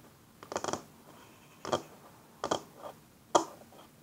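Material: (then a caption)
Wood. Fingernails and fingertips slowly rub and scratch a flat, solid wooden tabletop. Short, dry, scratchy bursts rise from near silence at irregular intervals, with a quick flurry at the start and then single strokes. Each stroke fades almost at once.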